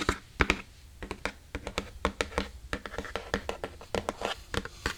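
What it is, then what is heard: Hollow empty box. Fingers tap and scratch on an empty iPad Air box, making a quick string of short, dry hollow taps with little ring. Brief scratchy brushing sounds fall between the taps, and they sit over a low thunk.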